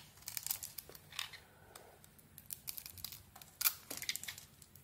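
A metal blade carves curls from a solid white Isana soap bar with glitter, held in the hand. Quiet, crisp scraping and shaving strokes come in quick irregular bursts of bright, dry crackle, with almost no low end or ring between them.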